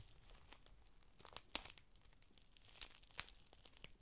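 A folded, thin clear plastic rain cover is held in the hands and unfolded, with the fingers bending and crinkling the sheet. Soft, bright crinkles and rustles run throughout, broken by sharp, crackling snaps near 1.5, 2.8 and 3.2 seconds. The sound stays quiet and close.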